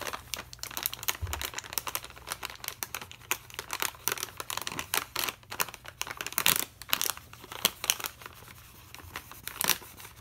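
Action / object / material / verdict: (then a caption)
scrape / plastic foil snack bag / plastic foil / none. A pen tip traces over a medium green printed plastic/foil snack bag full of mixed nuts and snack mix, held in one hand. Dense, bright, dry crinkling with sharp snaps that die away almost instantly, and little low end beyond a brief thump near the start.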